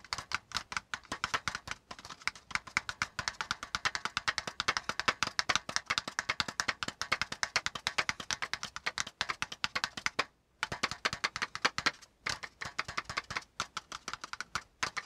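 Fingertips of both hands tap fast on a brown kraft cardboard folder resting on a notebook. The result is a dense stream of dry, bright, sharp clicks with almost no low end. Brief pauses come around 10 and 12 seconds before the rapid tapping resumes.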